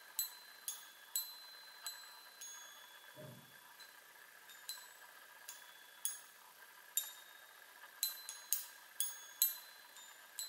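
Long nails tap the hollow metal tubes of a small handheld chime on a wooden frame 15 times at an uneven pace. Each tap gives a quiet, bright, high metallic ping that fades quickly. A brief soft low thump is heard near the middle.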